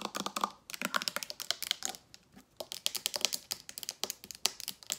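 A dark glass liquor bottle with a paper label and a gold cap is held in one hand and tapped rapidly with long nails on the glass and the cap. The result is a quick, uneven run of sharp, bright clicks that die away almost instantly, with a brief pause near the middle.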